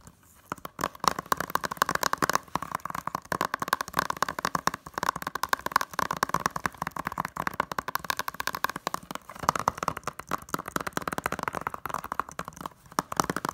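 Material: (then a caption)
Plastic. Long nails rapidly tap the front cover of a closed, hollow blue plastic Blade Runner 2049 Blu-ray case held in both hands. The result is a steady flurry of dry, sharp clicks centered around 1 kHz, with almost no ring after each tap.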